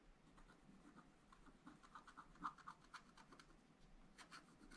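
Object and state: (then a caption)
Wax-coated scratch-art paper being scratched. A wooden stylus scratches flower details into a black, wax-coated scratch-art page in a small spiral-bound pad of thin, flat paper. It makes a quiet series of short, dry scratching strokes at an irregular pace, centered around 1.2 kHz with a few louder strokes in the middle.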